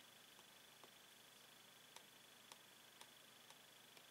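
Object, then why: Clear plastic blister pack on card, tapped with a metal pen. A metal pen taps along a hollow clear plastic blister holding a toy pen on a yellow card, while a latex-gloved hand steadies the card. The faint, bright, clicky taps come at uneven intervals over a steady background hiss, with a few louder taps later in the clip.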